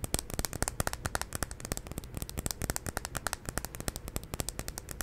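Long nails tap rapidly on the surface of a large glass jar candle filled with solid white wax, held steady close to the mic. The result is a dense stream of short, sharp clicks with a bright ticking edge over a low, thudding body.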